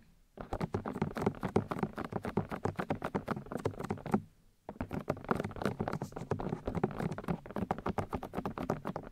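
Long nails tap quickly on the white plastic ear housings of a 3Dio binaural microphone, making dense, rapid, dull patter with a low, hollow plastic body and little brightness. The tapping runs in two bursts separated by a brief pause around the four-second mark, with each tap dying away almost instantly.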